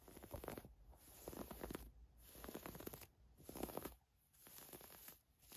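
Long nails scratch and rub the ruched fabric of a thin, navy floral-print woven camisole with a hang tag, lying flat on a fur rug. Bursts of dry, scratchy rustling alternate with quieter pauses, all over a faint, steady high hiss.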